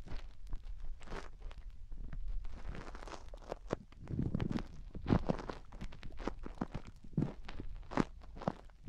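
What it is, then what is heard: Silicone microphone ears scratched with nails. Long nails scratch and dig inside both white silicone rubber microphone ears. The result is a steady run of close, low, muffled scraping and crackling rustles, with short sharp taps and brighter scratchy bursts throughout.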